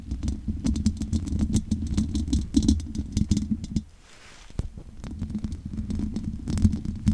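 Long nails scratch and tap across the hollow metal mesh grille of a large condenser microphone. The result is a dense stream of quick clicks and brief bright ticks over a boomy, low rumbling scrape. The sound drops into a quieter hush around the four-second mark before the tapping and scratching pick back up.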